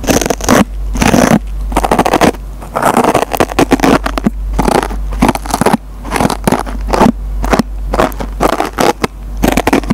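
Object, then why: Nylon scouring pad on foam sponge. A metal pencil tip scratches a dry foam sponge with a green nylon Scotch-Brite scouring pad, pulling fibers out of the pad. Bursts of rough, crackling scraping and tearing come in quick clusters separated by brief pauses, over a steady low hum.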